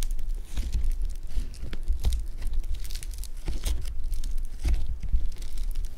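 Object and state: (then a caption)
Foam bead clay (floam) being squeezed. A hand-sized solid lump of blue foam bead clay (floam) is squeezed and kneaded with thumbs and fingers, producing a continuous stream of crunchy, crinkling crackles. Bright snaps and pops sit over a low, muffled thumping from the pressing.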